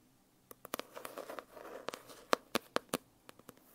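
Long dark-painted nails tap and scratch the glossy cover of a large, solid, closed holographic foil-covered hardcover notebook resting on a lap. About ten sharp, dry clicks stand out, and soft scratchy rustling fills the stretch in between. Each tap dies away almost instantly, with a faint ring around 500 Hz.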